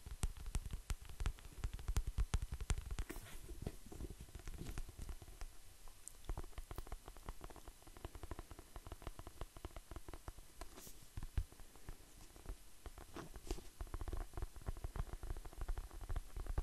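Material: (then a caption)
Paper. Fingertips and nails tap and scratch the paper cover of the paperback novel "La canzone di Achille," its solid stack of pages beneath. Rapid, dry, low thuds come in dense clusters with soft scratchy brushing between them, each tap dying away almost instantly. The tapping is busiest at the start and end, with a quieter, scratchier stretch in the middle.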